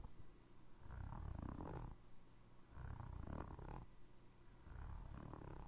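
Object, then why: Foam rubber clog sole. A navy foam rubber Crocs clog is held beside the mic, and fingertips and nails scratch and tap its ridged tread sole. The result is a low, rumbling, purr-like texture that swells and fades in repeated bursts, with the energy concentrated in the deep bass.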